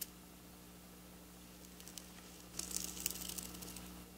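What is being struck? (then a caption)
Plastic sequin fabric. Long black polished natural nails scratch and trace across flat silver plastic-sequin fabric lying on a counter. The clip starts with faint, quiet scratching over a steady low hum, then from about halfway through it turns into brighter, crisp, crinkly clicks and rasps, ending with soft rustling.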